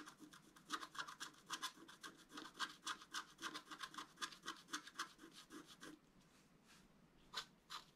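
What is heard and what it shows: A wooden stylus scratches and rubs across a flat, thin, solid black wax-coated scratch-art paper card. It makes quick, bright, raspy strokes in a steady back-and-forth rhythm for about six seconds, then a brief quieter pause and two final strokes.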